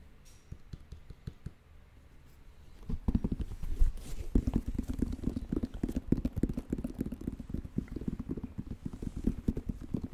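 Fingertips and nails tap the purple rubber outsole and the leather and suede upper of an empty white, black and purple Air Jordan 1 Mid high-top sneaker held in both hands. Faint, sparse taps in the first three seconds give way to a louder, dense, uneven patter of short, dull, low thuds that die out almost instantly.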